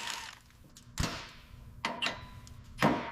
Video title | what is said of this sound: Will it Start? Abandoned Lincoln Continental 1960 Restoration #automobile #restoration #satisfying | It sounds hollow, like a bell tolling.